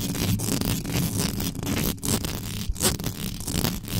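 Extra-long yellow nails scratch fast across the top of the hollow metal mesh head of a black condenser microphone. The result is a continuous, dense rasping scrape with a heavy low rumble and bright crackling above it, broken by brief dips between strokes.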